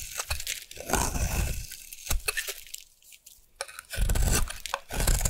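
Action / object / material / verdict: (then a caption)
scrape / bar of soap / soap / none. A solid round orange bar of soap is held in the hand and scraped with a metal blade into shavings. Dry, crunchy scraping and tearing strokes come in bursts with short quiet gaps, carrying a heavy low-end rumble under bright crackling edges.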